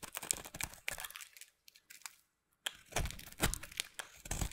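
A white, solid, hand-sized bar of soap is held in one hand with long painted nails and carved and scraped with a metal utility knife blade over a pile of soap shavings, peeling off curls. Crisp, crinkly scraping and crackling cuts come in quick bursts, fall to a near-silent pause in the middle, then return louder and crunchier with deeper thuds.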